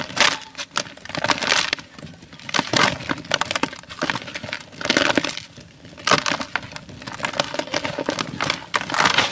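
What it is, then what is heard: Dry sand-cement block crumbling. A hand-sized, molded gray sand-cement block, solid and dry, is squeezed and crumbled between bare fingers over a basin of loose powder. The result is a steady run of gritty crushing and dry crackling: dense, bright bursts with almost no low end, rising and easing in waves as the block breaks apart.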